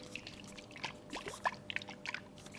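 A coconut found on the beach is shaken by ear, giving quick, bright sloshing and gurgling splashes of the water inside. The sloshing shows there is water in the coconut, and it is left unopened because breaking it is hard.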